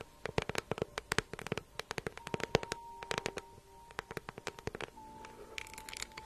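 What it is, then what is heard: Faux leather handbag tapped with nails. Long nails tap and scratch a small, hollow, green crocodile-embossed faux leather handbag held in the hand. About 34 quick, dry clicks ring out against a faint steady hum. Near the end they give way to a softer, brighter scratching rustle.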